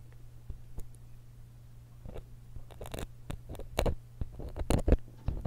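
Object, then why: Metal stereo microphone capsule and grille. A thin steel dental pick scratches the metal capsule and grille of a small silver X/Y stereo microphone held steady in one hand. Irregular, dry scraping clicks and crackles sit over a steady low hum, growing denser and louder toward the end.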